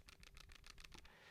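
An empty Benks Magnetic Mist case for the iPhone 13 Pro is shaken to check a report of rattling buttons. Its alloy buttons move inside the case and give a quick series of faint, bright clicking rattles over a low rumble. The loose buttons rattle noticeably, an alarming flaw.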